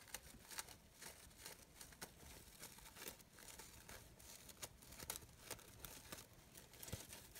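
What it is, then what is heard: Fabric rose brooch being rustled. Fingers with long nails crinkle and rub the petals of a glittery green synthetic fabric rose brooch on a wooden table. The result is a quiet, steady, bright rustle and crinkle, broken by frequent short, sharp ticks and scratches that fade almost at once.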